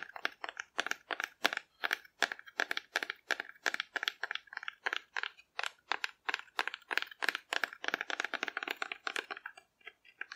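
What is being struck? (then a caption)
Painted cardboard dinosaur figure. Long red-painted nails tap a hand-sized, hollow cardboard dinosaur painted in pastel swirls, held in one hand. A quick, steady run of dozens of dry, papery clicks with a bright midrange and no low end, each one stopping instantly with no ring.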